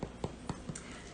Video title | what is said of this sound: Challah Part II and Coconut Macaroons! | as I'm tapping it it sounds hollow which is good and that means that all of that excess moisture has evaporated out of it